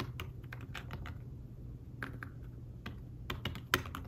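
Fingertips with short nails tap the keys of a thin, flat, iPad Smart Keyboard-style folio keyboard with dark woven fabric-covered keys. Soft, muffled typing taps come in irregular bursts over a low steady hum. One tap near the end lands louder and brighter than the rest.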